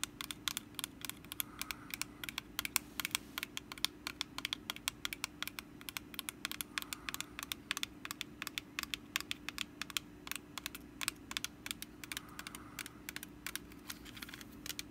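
Long nails tap and scratch the woven base on the underside of a small, hollow, orange woven wicker pumpkin basket held in the hands. The result is a quick, continuous run of dry, bright clicks and crackles that stop instantly with no ring. A faint steady low hum sits beneath them.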